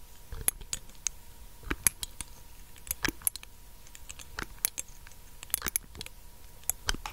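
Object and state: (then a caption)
Glass dropper bottle tapped with nails. Long nails tap the cap and the glass of a small, clear glass dropper bottle with a black dropper top, held in one hand close to the mic. The result is a quiet, irregular run of sharp, bright clicks and ticks that die away almost instantly, with faint soft handling rustle between them.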